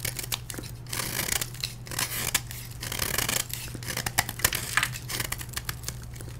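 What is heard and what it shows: A solid block of dyed blue gym chalk is held in the hand and scraped repeatedly with a metal blade, and chunks crumble onto a tray below. Dry, gritty scraping and crisp cracking ticks come in quick bursts, bright and close. A steady low hum runs underneath.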